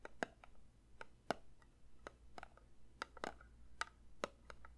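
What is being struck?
Metal candle tin.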